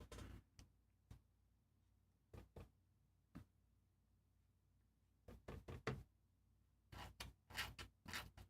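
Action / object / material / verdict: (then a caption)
knock / plastic paint dropper bottle / plastic / nearly empty. A nearly empty plastic Monster Brown paint dropper bottle is knocked repeatedly to get paint down onto a palette, giving fifteen short, hollow knocks in uneven bursts with quiet gaps between. Only a little paint comes out, because the bottle is almost empty.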